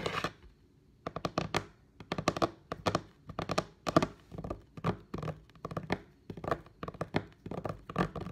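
Both hands with long painted nails tap a flat, solid, light-brown wooden table top with their fingertips and nails, while a phone lies untouched off to the side. The sound is quick, dry clicks and knocks in rapid bursts, with a short pause near the start. Each tap dies away almost at once.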